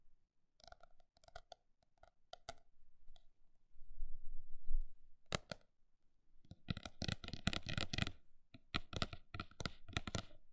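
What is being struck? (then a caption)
Paper notebook. A paper notebook is tapped with a mix of slow, spaced-out taps and quick, dense bursts, each a short, dry click with a bright edge. A soft low rumble swells in the middle before a fast flurry of taps.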